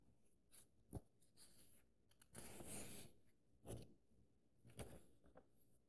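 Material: Paper.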